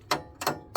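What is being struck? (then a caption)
Motorcycle radiator cover, sheet metal. Three light metallic taps on an aftermarket metal radiator cover marked "Transalp," mounted on the front of a 2024 Honda Transalp motorcycle over the stock plastic radiator cover. Each tap is a short, bright clack with a brief ring around 700 Hz that decays quickly, showing the cover is metal.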